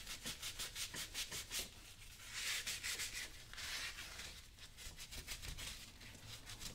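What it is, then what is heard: Leather work boot being brushed. A small blue bristle brush held in the fingers scrubs a worn brown leather lace-up work boot that is being worn on a foot. Quick, bright, scratchy brush strokes repeat in a steady rhythm, broken by two longer, hissing sweeps in the middle before the short back-and-forth scrubbing resumes.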